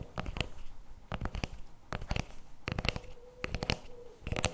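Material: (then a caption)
Paperboard, plastic. Fingertips and nails tap and scratch the plastic lid and rim of a CremaNovi paperboard chocolate spread tub resting on a table. Irregular clusters of short, dry clicks and scrapes with bright edges come in bursts, with no ring after each hit. A faint steady tone hums underneath in the later part.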